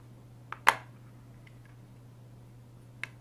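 Fingertips tap and rub on the plastic inner tray and disc of an opened hard plastic PS3 game case, God of War III, lying flat on a wooden desk. Three short, crisp taps stand apart over a low steady hum: a light one, then a louder sharp click with a brief decay, and a final soft tap near the end.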